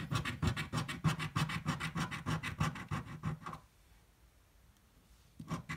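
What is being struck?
Paper scratch-off ticket scraped with a coin.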